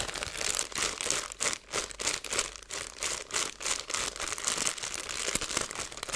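Fingertips with long nails press and crinkle a clear plastic zipper bag partly filled with small seeds, working the plastic near the seal. Bright, dry crinkling comes in quick, irregular bursts with little low end and almost no ringing between them.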